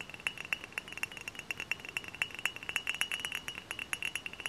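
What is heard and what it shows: Fingernails tap rapidly on a tall, hollow, dark glass cider bottle held upright. The result is a quick, irregular run of bright, glassy clinks, each with a clear ring near 2.7 kHz that dies away almost instantly. There is almost no low-end body.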